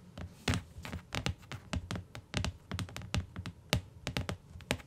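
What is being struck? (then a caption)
Hardcover book, paper-covered board. Long nails on both hands tap near the edge of a closed beige hardcover book with a paper-covered board cover, resting on a fur rug. About 21 quick, dry taps land in an uneven rhythm, each a low, hollow thunk with a faint clicky edge that dies away almost at once.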